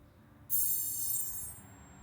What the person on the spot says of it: 5356 has a much more tinny sound when it hits the ground because it's a little bit more brittle wire